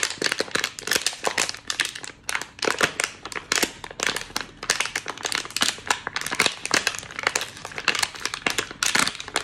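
An empty, crumpled, small hollow water bottle of clear thin plastic with a pink cap is held in both hands and squeezed and crinkled with the fingers. Dense, bright crackling crinkles come in quick bursts throughout, with almost no low end and each snap dying away fast.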